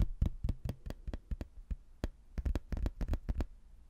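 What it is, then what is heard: Cork-backed hardboard placemat, thin and solid. A thin, solid, cork-backed laminated hardboard placemat with a castle picture is held up and tapped and scratched with fingernails and fingertips. About sixteen quick, dull, low knocks come in an uneven rhythm, each dying away almost instantly, with faint scratching between them.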